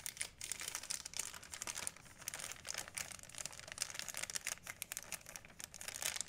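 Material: Plastic.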